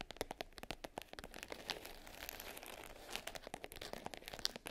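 Long pink French-tip nails tap and scratch the top of a small black hard case covered in glitter fabric, closed and lying flat. Rapid, sharp little taps mix with a bright, crinkly scratching rasp. Each hit stops dead with no ring.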